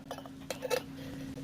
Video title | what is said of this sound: Tie dying techniques | that's not a good sound that sounds empty